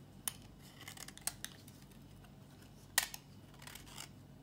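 A metal box-cutter blade scrapes a solid, dry, old pink bar of soap held in the hand. The clip has eleven short, crisp scratching hits with bright, high-frequency hiss and almost no ring, separated by quiet pauses.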